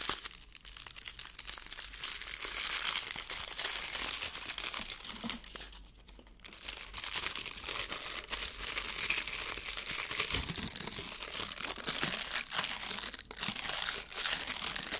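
A thin, hand-sized sheet of crinkly pink metallic foil is crumpled and then stretched open between fingers with painted nails. The result is dense, bright, crackling crinkles that run almost without pause, easing briefly around six seconds before building again.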